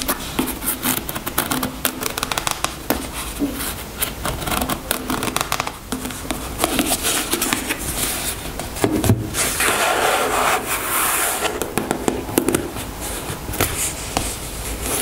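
A white plastic squeeze tube of cream is held and laid on a table while long nails tap and scratch along it. Dense, quick clicking taps mix with dry, papery scraping that has a bright, crackly edge. The sounds stay close and short, dying away almost instantly.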